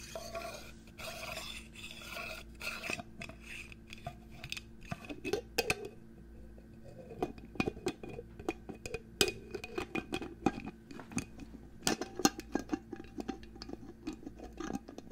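Fingernails tap and scratch the body and gold cap of a clear glass perfume bottle held close to the microphone, making a run of quick, bright clicks mixed with soft rubbing. The taps are light and dry with almost no ring, layered over a faint steady hum.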